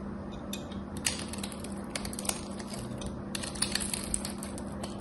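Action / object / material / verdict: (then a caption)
scrape / soap bar with a thin metallic coating / soap / none. A craft knife shaves the edge of a solid soap bar with a gold-coated surface, sending crumbs falling. Dense, crisp scraping crackles are punctuated by sharp, bright ticks and clicks, over a faint steady low hum.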